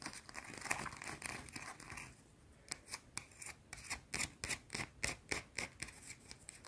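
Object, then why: Solid soap bar. A round, solid white bar of soap is held in the fingers and scratched fast with long dark nails. A dense, bright, scraping rasp runs for about two seconds, then briefly drops away. It returns as a quick, uneven series of short, sharp scratch bursts with crisp high hiss and little low end.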